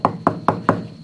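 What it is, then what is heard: Hardened, aged car tire. Four sharp knocks on an old rubber tire on a 1969 Chevelle SS, each a short hollow, woody tap with a quick decay. The rubber has aged and hardened so much that it sounds almost like wood, and the tire is splitting in half.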